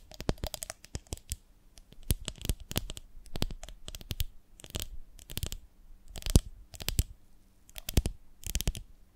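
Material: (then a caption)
Glass. Long nails tap and scratch on a medium, ribbed, beehive-shaped glass jar with a lid, full of honey. Quick bursts of sharp clicking taps and bright scratchy rasps come in clusters separated by short pauses, over a faint steady low hum. Each tap dies away almost instantly.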